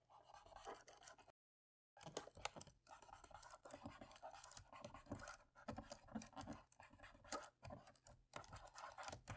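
An alcohol-soaked cotton swab, held in the fingertips, rubs and scratches along the dark plastic keys of a laptop keyboard with hollow key caps and into the gaps between them. The result is a quiet, dense stream of dry, high scratching and soft tapping clicks, broken by a short silence near the start.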